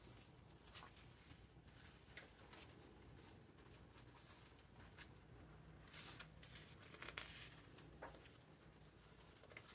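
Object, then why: Hardcover book with glossy paper pages. A hand turns the glossy paper pages of a large open hardcover book and rubs them flat. Quiet, crisp rustles and bright papery swishes come in short bursts, with soft crinkling over a low, steady background hum.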